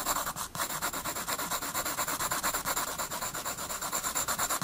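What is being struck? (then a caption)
Graphite pencil on a paper sketchbook sheet. A graphite pencil held in the fingers shades a penguin drawing on a sheet of a spiral-bound sketchbook resting on a wooden desk. The pencil scratches and rubs across the paper in quick, steady back-and-forth strokes, about two per second. Each stroke gives a dry, bright hiss with almost no low end.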